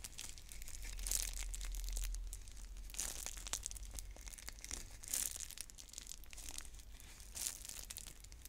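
Long nails scratch, pick and crinkle the plastic shrink wrap on a clear plastic bead container while trying to open it. The sound is a dense stream of bright, papery crackles and scratches with brief louder bursts of crinkling, over a steady low rumble.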